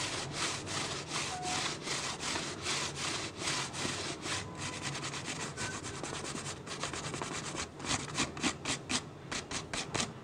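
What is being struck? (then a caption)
Plastic water bottle. Fingertips and nails scratch and rub the ribbed sides of an empty, hollow, clear PET plastic water bottle. The result is a steady run of quick, rhythmic scratchy strokes with a bright, hissy texture that turns sharper and more distinct toward the end.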